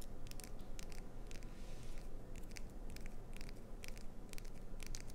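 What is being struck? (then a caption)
Glycerin soap bar. Long acrylic nails tap and scratch the surface of an unwrapped, hand-sized, solid bar of translucent green glycerin soap with an embedded clownfish design. Quick, bright clicks and short scratchy strokes sit over a steady low rumble, each tap dying away almost at once.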